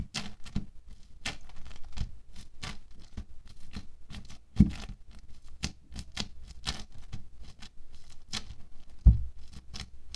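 A wooden stick pokes and scratches through a thin orange sheet of bead foam clay with a lacy, holed texture, resting on a white table. Quick, irregular crackling taps and short scratches follow one another with almost no ring, carrying a soft low thump under each. Two sharper, louder pops stand out partway through and near the end.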